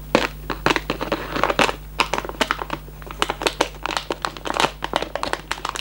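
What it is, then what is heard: Cardboard candy box. A closed, hollow Raffaello cardboard candy box is held close and squeezed and rubbed with fingertips, producing a rapid string of sharp, bright crackles and crinkles. Each snap decays almost instantly over a faint, steady low hum.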